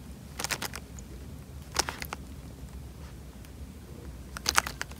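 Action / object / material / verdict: shake / tied plastic bag of water / plastic film / none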